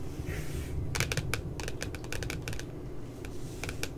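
Long glitter nails tap quickly around the puppy's head printed on the glossy paper cover of a spiral notebook lying flat. Quick, sharp, bright clicks come in uneven bursts over a steady low rumble.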